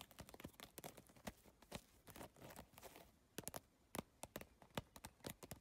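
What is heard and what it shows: Long nails and fingertips tap rapidly across an iridescent holographic bag covered in triangular PVC plastic tiles. The result is a quick, irregular run of crisp, bright clicks that die away almost instantly, denser and softer at first, then sharper and more spaced out.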